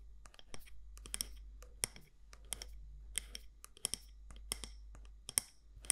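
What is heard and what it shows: Long nails tap the side walls of a medium matte black candle jar, possibly glass or ceramic, with a gold lid. The result is a quiet, irregular series of sharp, dry, bright clicks that stop almost instantly, over a steady low hum.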